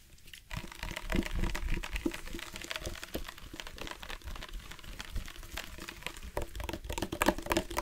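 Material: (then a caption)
Plastic. A tall, hollow black plastic drinking bottle with a screw cap is held in one hand and tapped along its side with the fingertips and nails of the other hand. Rapid, uneven dry taps and crinkly clicks continue throughout, with soft hollow thumps under bright nail ticks. Each hit dies away almost at once.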